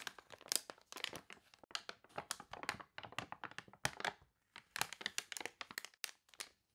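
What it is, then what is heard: Warped glossy paper catalog, crinkled and scratched. A page of an open, water-warped, wavy glossy paper toy catalog is turned, then long nails scratch and rub across it. Dense bursts of crisp, bright crinkling and crackling come in quick clusters, with almost no low end and brief silent gaps between them.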